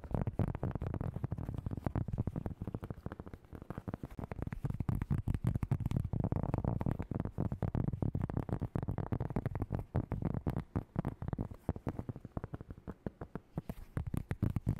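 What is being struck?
Round cork board.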